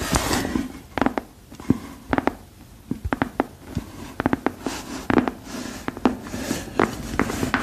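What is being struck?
Rubber rain boot sole.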